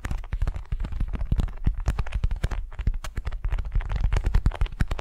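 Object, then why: Waxed cotton food wrap. Long nails scratch and slide across a flat, patterned beeswax-coated cotton wrap laid over a furry mat. The result is a dense, steady stream of short, crinkly scrapes and soft taps, each dying away almost instantly, with most of the energy low and muffled.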